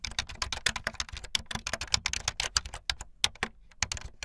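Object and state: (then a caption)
Plastic keyboard being typed on. Fingertips with long light-blue nails type fast on a full-size plastic keyboard with white, blue and yellow plastic keycaps and a blue backlit frame. A rapid, uneven stream of short, bright clacking keystrokes follows, each dying away instantly, with a light low thud under the sharper taps.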